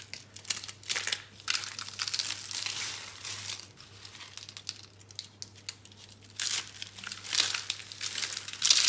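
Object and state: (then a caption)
Dry soap curls. Small, hollow, dry brown-pink recycled soap curls are squeezed and crushed between bare hands. The result is dense, bright crinkling and crunching in repeated bursts that swell and fade, over a faint, steady low hum.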